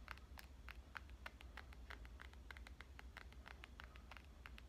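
Dark-painted nails tap and scratch the glass screen of a black smartphone held in one hand. Rapid, quiet, bright clicks and short scrapes run throughout over a steady low hum.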